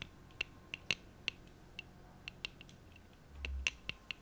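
Long acrylic nails tap and click on the hollow frame and folding arms of a small pair of black plastic-framed eyeglasses with lenses, held in both hands close to the mic. About thirteen short, dry, bright clicks ring around 2.7 kHz over a quiet background, with a brief low rumble swelling near the end.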